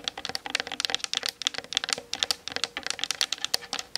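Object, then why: Plastic DSLR camera body and lens. Long nails tap rapidly on the hollow plastic body and lens of a Canon DSLR mounted on a tripod. The result is a dense, steady run of sharp, dry clicks with a bright, clicky tone centered near 3.3 kHz, almost no low end, and no ring after each tap.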